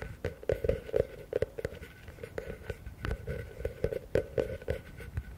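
A medium, hollow, empty blue plastic bucket is held upside down in front of the microphones while fingers tap and scratch its walls. A fast, uneven run of dull taps gives a hollow tone around 460 Hz. Each tap dies away almost at once, with soft scratching between them.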